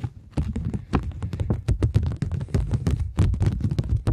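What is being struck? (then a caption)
Polymer plastic banknote. A flat polymer plastic £20 banknote, held in both hands, has its face tapped and scratched by long nails. The result is a rapid, dense run of short, dry taps with a low, thumpy body and brief bright scratchy edges. Each tap dies away almost instantly.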